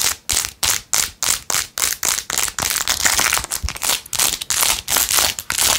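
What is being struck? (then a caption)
Rhinestone-covered plastic phone case. Long acrylic nails scratch fast across a blue-jeweled, rhinestone-covered plastic phone case. The sound is a rapid, uneven run of short, bright, crinkly scratching bursts, each fading quickly before the next begins, with almost no low end.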